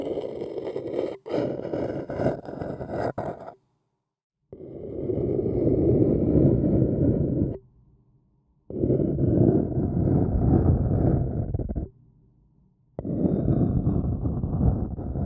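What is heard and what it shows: A thin wooden stick scratches around the rim and inner wall of a printed white paper cup, hollow and apparently empty, held in one hand. Four bursts of dense, rustling, low-pitched scraping are heard, separated by short pauses, the first with a few sharper scratches.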